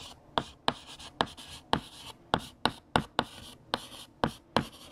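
A hand writes on a large, flat, solid black chalkboard with a teal chalk stick, making scratching and tapping strokes. Each stroke starts with a sharp tap, followed by a brief bright scratch. There is quiet rubbing between strokes.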